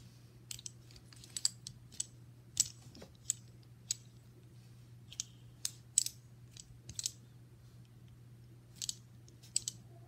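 A small solid brass caster wheel on a metal mounting plate from an upright piano is held close while fingertips and nails roll, spin and tap it. About nineteen short, bright metallic clicks and ticks ring off almost instantly over a quiet, steady low hum.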